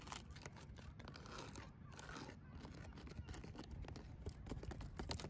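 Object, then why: Palm tree trunk with fibrous leaf-base husks. Long decorated fingernails scratch and tap along the trunk of a thick palm tree outdoors, its bark covered in dry, grey, fibrous leaf-base husks. The result is a steady, dry rustling scrape dotted with many quick, crisp taps and crackles, heavy in low rumble with a faint bright edge.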